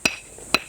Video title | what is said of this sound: 미국 CNN 선정한 아름다운 섬! 트레킹 명소인 외연도와 신비의 바닷길 무창포 해수욕장까지! 풍요의 땅 충남 보령 (KBS 20130817 방송) | 여기는 아무 어떤 칼이나 병이 없으니까 그러면 이건 사른 돌이구나